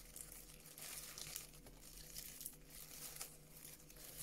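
A sheet of brown honeycomb-cut kraft paper packaging wrap is squeezed, crinkled and scratched with long nails. The result is a quiet, continuous, bright crinkling and scratchy rustle that swells and fades, with a faint steady low hum underneath.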